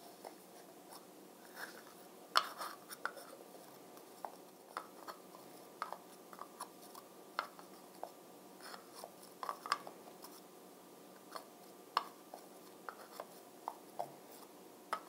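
A fingertip and nail tap on the top of the round, brown, glossy plastic lid of a Physicians Formula Bronze Booster bead jar, a hollow jar filled with bronzing beads. Light, dry clicks and ticks come at irregular intervals over a quiet, steady hiss, some with a faint tone around 1.25 kHz and bright edges. Each tap dies away almost instantly.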